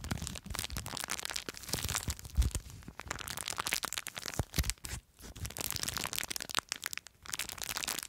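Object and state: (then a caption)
Plastic bag of foam beads. Long nails scratch and crinkle a small clear plastic bag full of blue foam beads. A dense, bright crackling and crunching runs throughout, with a low rumble of handling underneath and short quiet gaps around the fifth and seventh seconds.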